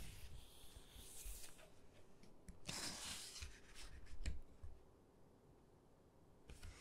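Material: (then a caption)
Paper. Fingertips rub across the glossy pages of an open hardcover photo book and flip them. Soft, dry rubbing and brushing alternates with brighter papery swishes as pages turn, over faint low thumps and handling noise. The overall level stays quiet and close.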